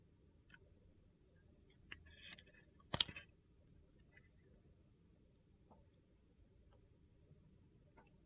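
A metal utility knife blade slices and shaves the surface of a hand-sized, solid translucent glycerin soap bar with purple and teal chunks, held in the hand. Against a quiet background with faint ticks, two bright, crisp scraping cuts are heard, a short one followed by a louder crunchy shave that stops at once with no ring.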